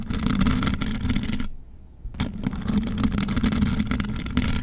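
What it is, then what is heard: Microphone grille scratched with nails. Long metal nail claws on both hands scratch the mesh metal grille of a rhinestone-covered microphone, making a dense, rough, low-heavy scraping texture with a hum-like band near 200 Hz. The scratching drops to near silence for about half a second in the middle, then resumes just as thick and steady until the end.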